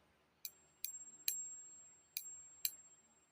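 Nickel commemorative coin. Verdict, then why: Not silver. A non-silver, nickel-lookalike commemorative coin (23 g, against 26 g for the silver version) is tapped with a stick five times in a ping test for comparison with the silver coin. Each tap gives a bright, high click with a quick decay, over a faint steady high tone. The coin is confirmed as the non-silver version.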